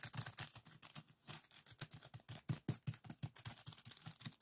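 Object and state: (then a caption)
Plastic bag of sand being scratched. A small clear plastic zip-lock bag full of coarse purple sand granules, lying flat on a wooden table, is pressed and scratched by fingertips and short nails of both hands. A quiet, rapid series of crinkly, gritty scrapes and soft taps with bright, hissy texture over a low thud runs steadily throughout.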